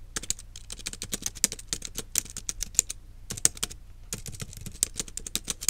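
Fingertips and long nails type on the plastic keys of a small black plastic wireless keyboard resting on a desk. The result is a rapid run of sharp, bright clicks and taps with very short decay, broken by brief pauses before the typing resumes.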